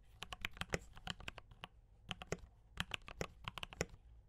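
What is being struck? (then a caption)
Mechanical keyboard with plastic keycaps. Fingertips of both hands type on a D84 mechanical keyboard with brown switches and cream and red plastic keycaps. Quick, bright, dry clacks come in two bursts separated by a short pause, each keystroke sharp with almost no ring and a slight low thump beneath.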